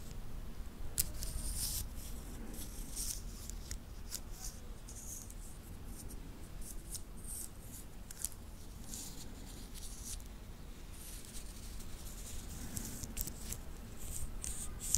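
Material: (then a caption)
Titanium. A small titanium watch band with solid metal links is held in the fingers while its links are bent and rubbed against each other. This produces a steady stream of quiet, bright metallic clicks and scrapes over a soft low rumble.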